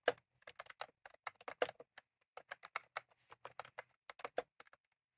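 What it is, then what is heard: Plastic mechanical keyboard typing. Both hands type rapidly with their fingertips on a full-size retro-style plastic mechanical keyboard with round cream plastic keycaps, sitting on a desk. About 22 short, dry clicks and clacks come in uneven bursts with brief pauses, each tap sharp with a bright top and a midrange body.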